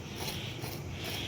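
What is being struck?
Nothing is struck.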